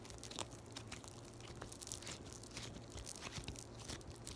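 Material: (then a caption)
Foam beads. A palm-sized, flattened, solid yellow floam (foam beads in slime) is squeezed, folded and poked by long white nails. It gives a quiet, continuous run of bright, crisp crunches and crackles over a low rumble.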